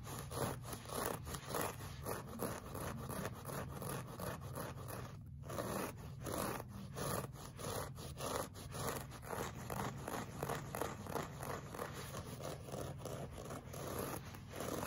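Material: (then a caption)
Woven fabric. Short fingernails scratch a flat, solid beige looped-pile woven rug with a clawing motion. The result is a steady run of dry, raspy scraping strokes at an uneven pace, each a short, crackly brush of fabric texture that fades quickly.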